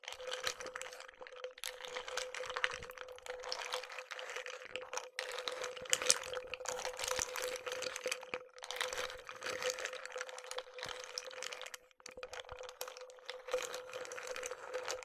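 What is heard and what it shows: Pistachio shells in water inside a clear glass mug, held by its handle, are stirred with a wooden stick so the shells clatter against the glass. The result is dense, bright clicking and crackling in close bursts, with short pauses, over a steady faint hum near 500 Hz.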